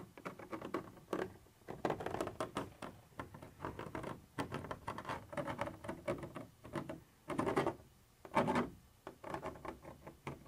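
A thin metal pointer tip scratches across a white, translucent, textured plastic surface. It makes a quiet, rapid pattering of short, dry scraping strokes in the low-mid range. Two longer, louder rasping sweeps stand out near the end.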